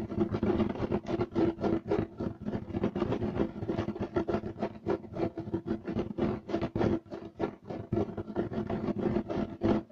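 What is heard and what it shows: Both hands scratch fast with fingertips and short nails across a flat beige striped loop-weave carpet with a natural fiber look, laid on a solid floor. The result is a dense, uneven run of quick, dry, rasping scrapes with a steady low-mid body that keep going for the whole clip.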